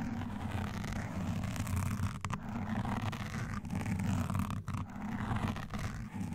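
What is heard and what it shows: Hands in lace gloves wearing black claw-like nail rings scratch fast at a soft, porous black foam windscreen on a standing microphone, alternating hands. The result is a dense, continuous, muffled rumbling scratch concentrated in the low end, with only a few brief dips in level.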